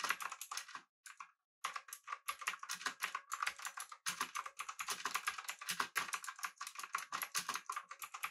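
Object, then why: Mechanical keyboard with metal body and plastic keycaps. Fingertips of both hands type rapidly on a full-size backlit typewriter-style mechanical keyboard with blue switches, an aluminum body and round plastic keycaps. A steady stream of sharp, bright clicks runs throughout, with a brief pause near the start. Each keystroke is crisp and short, ringing centered around 1 kHz with no low-end thump.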